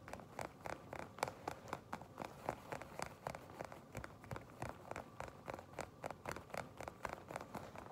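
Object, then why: Leather jacket. Long pink nails scratch and tap the surface of a shiny black leather jacket. The result is a quick, uneven stream of short, dry clicks and scratchy rustles centered in the midrange around 850 Hz, with little low end. Each one dies away almost at once, over a faint steady background.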